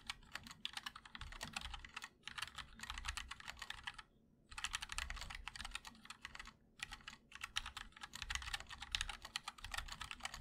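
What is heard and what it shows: A 60% mechanical keyboard with ABS keycaps, white and black, in a black aluminum case is typed on continuously with the fingertips of both hands. Rapid, bright clicky keystrokes run in bursts, broken by two brief pauses near four and seven seconds.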